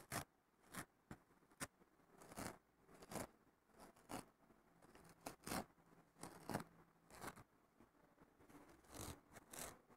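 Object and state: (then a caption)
Nylon scouring pad scratched. Fingertips and nails scratch a thin, flat, fibrous green nylon scouring pad held in one hand on a wooden table. Short, rough, bright scraping strokes come in irregular bursts, each a quick gritty rasp over a quiet background.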